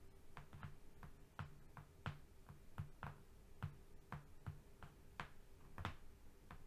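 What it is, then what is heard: Flat cardboard sheet. Fingernails on both hands tap and lightly scratch a flat brown cardboard strip lying on a rug. The result is a steady run of quick, dry taps, each a soft low thud with a brief bright click that dies away almost at once, over a faint constant hum.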